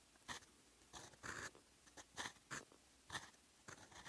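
A fountain pen's steel nib scratches across a sheet of lined writing paper as it writes in blue ink. About nine short, irregular scratchy strokes stand out from quiet background hiss, each a bright, dry rasp centered near 1.8 kHz with almost no low end.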